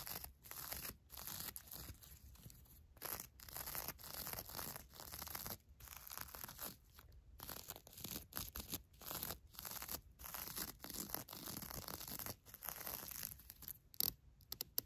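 Long nails and fingertips scratch and rub the glitter-covered surface of small, flat, crunchy foam hearts on a headband with ribbons. The result is a quiet run of dry, crackly, tearing-like scratches in short bursts with brief pauses between them, mostly bright and papery with little low end.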